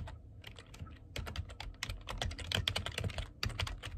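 Fingertips type quickly on the keys of a black plastic computer keyboard. It makes a steady run of short, sharp, bright clicks over a soft low thump, each dying away almost instantly. The pace speeds up and grows a little louder toward the middle.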